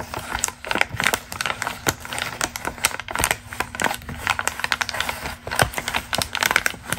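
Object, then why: Glossy magazine paper page. A single thin, pink glossy magazine ad page for argan oil is held flat and crinkled by hands with long green nails. Dense, crisp crackles and sharp, bright snaps run steadily throughout, with little low-end weight and almost no ring after each crinkle.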